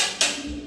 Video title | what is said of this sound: Building Inspection Adventure | Kapag pinupukpok ko yung mga tiles dito no, napakaingay, parang lata